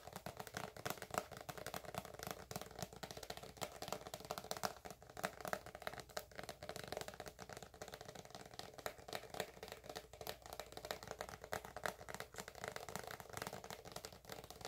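Long acrylic nails tap and scratch the surface of a white, hand-sized soft plastic squeeze tube filled with moisturizing cream. A steady, quiet stream of rapid, dry clicks and scratchy rustling continues throughout, centered in the midrange with brief crisp bright edges and almost no ring after each tap.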